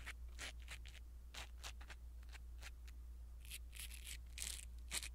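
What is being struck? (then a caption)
Foam microphone windscreen. A blue silicone-bristle ear pick brushes over a small black foam windscreen on a pin microphone. It makes a run of quiet, bright, scratchy rustling strokes over a steady low hum, and the last few strokes are slightly louder.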